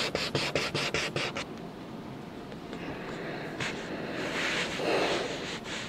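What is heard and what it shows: A coloured pencil tip scratches and rubs grid lines onto a green paper sheet resting on a stack of coloured paper while a hand steadies the sheet. About nine quick, bright scratching strokes open the clip, followed by a softer, continuous rubbing hiss that swells slightly toward the end.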